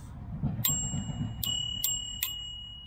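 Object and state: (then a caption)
Properly adjusted scooter bell, ringing clearly. A thumb-operated metal bell on a scooter handlebar rings four times after being fixed by setting its striker back to about 1 mm from the bell. Each strike gives a bright, clear ding with high overtones that sustain between hits over a low background rumble. The adjusted bell now rings properly.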